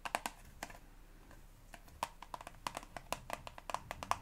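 A hand-sized, hollow soft-plastic Elmex toothpaste tube, held in both hands, is tapped with long blue-painted fingernails. The quick, dry clicks ring briefly around 1 kHz with bright edges, coming in an uneven series with a quiet pause near the start before picking up again.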